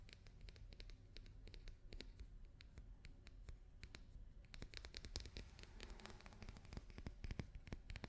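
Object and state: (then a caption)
Papier-mâché daruma doll tapped and scratched. Fingers and nails tap and scratch a papier-mâché daruma doll. The result is a quiet, steady stream of quick, dry clicks and light scratching with no ringing.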